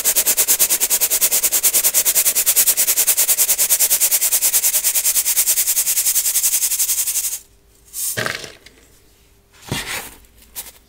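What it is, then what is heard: Metal mesh sieve of baking soda being shaken. A small gold metal mesh sieve holding baking soda chunks and powder is shaken or tapped rapidly over a clear plastic bowl, giving about seven seconds of fast, steady, bright rattling hiss. The sieve is then briefly lifted to one side, and the shaking stops, leaving a couple of short, softer rustles.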